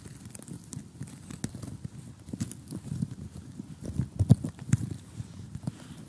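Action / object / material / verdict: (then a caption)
tap / cardboard jigsaw puzzle pieces on a table / cardboard / none. Fingernails tap across a large, flat, glossy cardboard jigsaw puzzle lying on a table, then a hand taps and rubs over the pieces. The result is a steady, irregular patter of short, dull, low-pitched knocks with faint bright crinkles on top, growing louder and busier in the second half.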